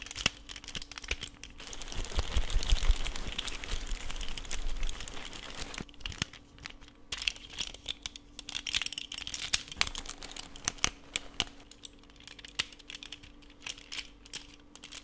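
A blue-and-white plastic Rubik's snake twist puzzle made of small hollow segments is held in both hands while the segments are twisted and clicked with the fingertips. Quick, irregular plastic clicks mix with a crinkly rustle that swells louder in the first few seconds, then thins to sparser, sharp, bright ticks. A faint steady low hum runs underneath throughout.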